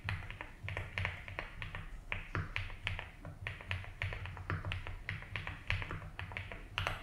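Both hands type slowly with their fingertips on a compact 75% mechanical keyboard with a blue case and white and blue ABS keycaps. A steady run of short, crisp clacks with bright tops sounds over a constant low hum.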